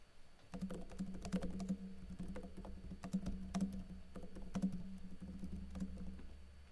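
Fingertips with blue-painted nails type fast on a backlit laptop keyboard with plastic keycaps, pressing and tapping the keys. The result is a quick, dense patter of light clicks over a steady low hum near 190 Hz.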